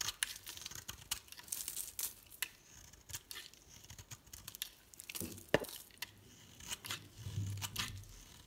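A metal blade shaves and crumbles the surface of a solid green and pink rounded soap bar held in the hand. Dry, crisp scraping and crumbling bursts with a bright, tearing texture repeat irregularly throughout, with a faint low rumble toward the end.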